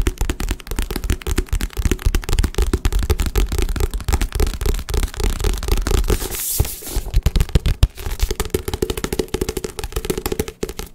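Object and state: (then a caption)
Paperback book tapped. A hand-sized, solid paperback book with paper pages and a glossy card cover is held up and tapped fast with fingertips and nails on the cover and pages. The result is a dense, continuous stream of short, dry, low thumping taps with almost no ring. A brief bright, scratchy rustle breaks in around the middle before the rapid tapping resumes.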